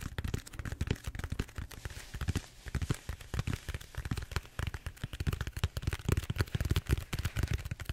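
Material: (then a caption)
Styrofoam. Fingertips rapidly tap and scratch the surface of a large purple bead-foam styrofoam roller held upright. A dense, irregular run of short, dry, low thumps comes with faint scratchy crackle, each tap dying away almost instantly.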